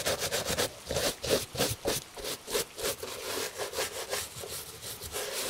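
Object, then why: Leather shoe brushed with a bristle brush. A gloved hand brushes the surface of a tan leather Italian dress shoe, held on a table, with a bristle shoe brush to clean it. Quick, fairly steady back-and-forth strokes make a dry, scratchy swish with bright hiss and a light midrange tone. The brushing keeps up a continuous rhythm throughout.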